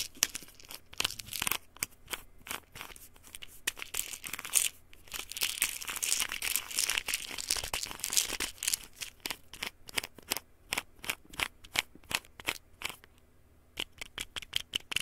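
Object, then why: Plastic pill bottle with paper label. Fingertips and nails tap and scratch a small white plastic pill bottle with a white cap and a red-and-white paper label, likely holding pills. Quick, crisp, bright clicks mix with dry, papery scratching and crinkling, thickest in the middle, with a brief quiet gap near the end before the tapping returns.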